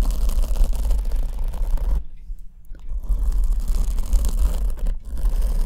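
Long almond-shaped nails scratch the surface of a large black foam windscreen on the left microphone, which is held from the side. A dense, low, rumbling scratching runs throughout, with a brief near-silent pause around the middle before the scratching resumes.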